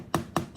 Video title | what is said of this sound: Mumtaz Network - Review Turbo Lite | Dia macam dia rasa macam material yang kosong.